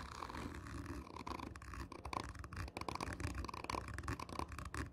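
Long nails on one hand scratch slowly and hard across a hollow, black, textured cardboard whisky tube held close up. The result is a steady run of rough, grainy scrapes with a deep hollow body and a faint ringing tone near 1 kHz, each stroke swelling and fading quickly.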